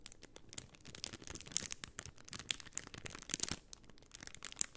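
A rectangular sheet of white plastic half-pearl stickers in a clear plastic bag is held flat in both hands and scratched and crinkled with long painted nails. Soft, bright crinkling and rustling is broken by sharp, quick ticks and clicks that die away instantly, with the sound sitting mostly high and only a little low-end body.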